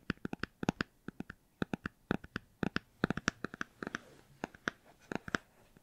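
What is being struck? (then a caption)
Hardcover book. A hardcover book is tapped and scratched, giving a rapid, uneven run of short, dry taps. The taps have a low thump around 190 Hz and brief brighter clicks, with faint scratching between them.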